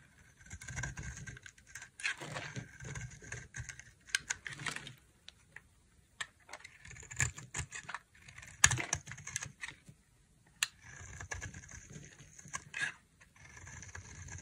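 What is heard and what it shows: A utility knife blade carves a dry, solid, palm-sized white Dalan bar soap, peeling off flaky shavings. Bursts of crisp, bright scraping and crackling come in uneven runs with short pauses between them. A few sharper snaps stand out along the way.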